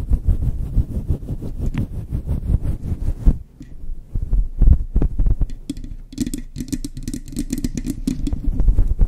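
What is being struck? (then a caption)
Faux fur microphone windscreen. Long chrome nails scratch and squeeze a soft, hand-sized, grey-white fluffy faux fur windscreen covering a microphone. It makes dense, rapid, deep rumbling scrapes and muffled thuds, with a brief quieter pause partway through. A brighter, crinkly rustle then joins in toward the end.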